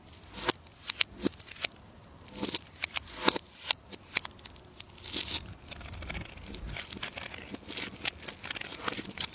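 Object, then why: Bar of soap cut with a metal knife. A solid purple bar of soap held in the hand is carved with a metal knife into curly shavings. Sharp, bright scraping and crackling cuts come in quick, uneven bursts, growing into a denser, steady crunching toward the end.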